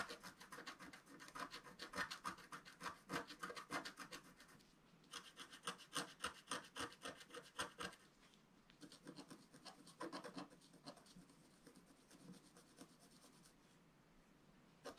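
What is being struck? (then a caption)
Coated scratch-art paper scratched with a wooden stylus. A wooden stylus scratches a flat, black-coated scratch-art paper sheet in rapid, repeated strokes, about three to four per second. Each stroke is a dry, raspy scrape centered around 1.2 kHz with bright high edges. The strokes come in bursts separated by brief pauses and trail off into softer, lighter scratching near the end.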